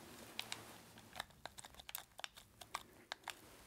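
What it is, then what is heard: Plastic game controller buttons. A red, hollow plastic handheld game controller is held in both gloved creature hands while fingertips press and click its buttons and sticks. The result is fourteen short, dry, bright plastic clicks, spaced unevenly over a quiet hiss, with almost no low end and no ring after each click.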